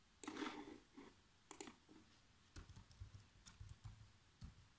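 Fingertips with short nails type fast across the black plastic chiclet keyboard of a laptop, producing about ten quiet, separate taps. The first taps carry a hollow mid-range clack around 300 Hz, while the later ones are softer with a low thud and a bright click.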